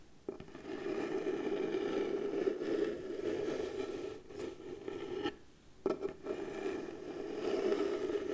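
Long blue fingernails slowly scratch the surface of a round piece of pale wood, likely the lid of a light wooden box, held against the chest. A continuous soft scraping with a steady midrange tone runs throughout, broken by a few brief pauses.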